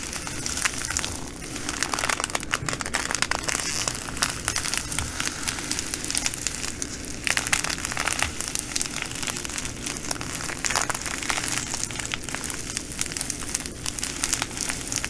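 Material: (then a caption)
Glass, plastic. A full plastic bag of green glass bugle beads is folded and squeezed by fingers over a table. The beads crunch and the plastic crinkles in a steady, dense stream of bright, crisp crackles lasting the whole clip.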